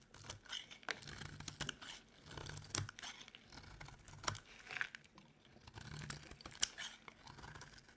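A utility knife blade scrapes a dry, solid cream soap bar in short strokes. It makes dry, crumbly scraping and crackling sounds with bright edges, separated by brief quiet gaps.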